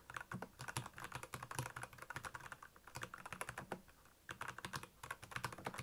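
Fingertips of both hands type rapidly on a black plastic Royal Kludge mechanical keyboard with backlit keys. Dense runs of sharp, clacky keystrokes pair a low thock with bright clicks, and the typing briefly slows near the middle and pauses just before the final burst.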